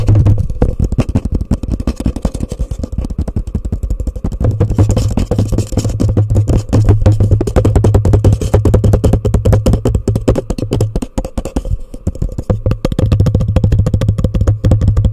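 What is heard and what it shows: A hollow, empty orange plastic cup sits upside down over a microphone and is tapped and scratched fast with long nails and fingertips. A dense, rapid run of dull, hollow knocks and scrapes booms low, with a steady resonance near 100 Hz that comes and goes throughout.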